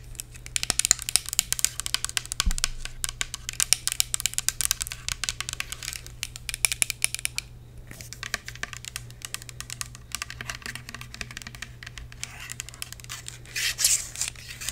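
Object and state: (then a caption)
Plastic spray bottle tapped and scratched with nails. Long acrylic nails tap and scratch a Bath & Body Works "White Pumpkin & Chai" fine fragrance mist, a tall hollow clear plastic bottle filled with amber liquid with a clear spray cap, and its label. The result is a dense run of quick, dry, bright clicks and scratchy crinkling with almost no ring, over a steady low hum.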